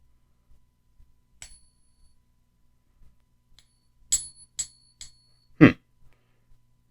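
A genuine 1889 Morgan silver dollar is flicked several times in a ping tester, giving short, bright metallic pings with high ringing tones that fade within about a second. The last strike is a duller, lower thud, and the coin is confirmed as real silver.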